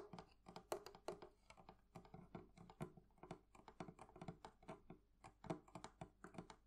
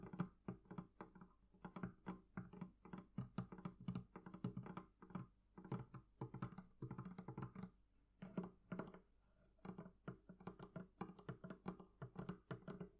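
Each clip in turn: First: metal fittings on a wooden chest. Second: leather covering on a barrel chest.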